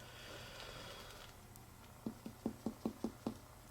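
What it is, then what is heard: Tympanic splenic percussion, spleen not enlarged. Percussion over the spleen area of a human abdomen while the breath is held. After about two seconds of quiet low hum, seven short, hollow taps come in a quick, slightly uneven series. Each has a low tone and dies away almost at once. The note stays tympanic rather than dull, indicating no enlargement of the spleen.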